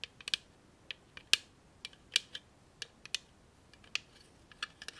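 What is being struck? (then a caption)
Clear plastic tape dispenser. A small hand-held clear plastic tape dispenser holding a roll of tape is tapped and clicked with long nails. Sharp, bright plastic clicks and taps come in an irregular rhythm, each dying away almost instantly with almost no low end.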